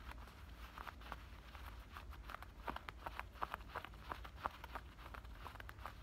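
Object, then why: Denim shorts waistband and pocket edges. Fingernails scratch the black denim fabric of a pair of shorts at the waistband and the top of the pockets. The result is a quiet run of short, dry scratching strokes with a midrange bite over a steady low rumble, a few strokes standing out louder than the rest.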